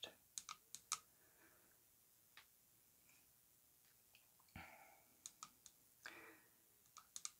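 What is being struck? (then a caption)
Coated glass perfume bottle. A tall, orange-coated glass perfume bottle with gold metal rings, filled with perfume and lying on a faux-fur rug, is tapped along its body with long acrylic nails. Thirteen quiet, bright, sharp clicks come in uneven clusters, each dying away almost instantly, with a couple of softer brushing swishes between them.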